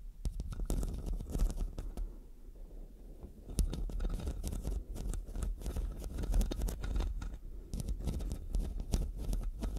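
Long dark nails scratch the metal mesh head of a black studio microphone, moving between the left and right mics. The result is a dense run of crackly, scraping rasps over a heavy low rumble, easing into a softer stretch around two to three and a half seconds before turning busy and gritty again.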